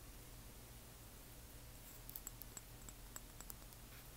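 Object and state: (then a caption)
Glass dropper bottle tapped with nails. Long nails tap and scratch a small frosted amber glass serum dropper bottle, held at an angle, and its label. Soft, bright, sharp clicks rise over a low, steady hum. Seven hits stand out, with a faint rustle between them.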